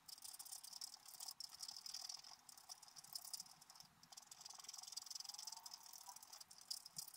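A wooden stylus scratches the leaf areas of a black-coated scratch-art paper card lying flat. The result is a quiet, steady run of short, dry, bright rasping strokes with a papery hiss. The sound sits almost entirely in the high range, with no low end.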